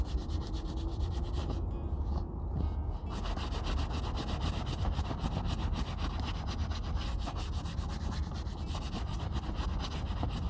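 A hollow, empty brown leather Red Wing Pecos 9801 cowboy boot shaft lies on a wooden table while it is rubbed and buffed by hand with a grey terry cloth rag. The result is a steady, fast rhythmic rubbing and scuffing with a heavy low-end rumble, briefly thinning in the high end a couple of seconds in before resuming evenly.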